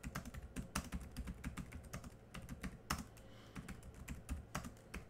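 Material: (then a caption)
Plastic. Both hands type quickly with their fingertips on a laptop keyboard with black plastic keys, producing a fast, steady run of short, dry clicks. Each tap has a low thump and a brief bright tick, with a few louder, sharper key strikes standing out from the patter.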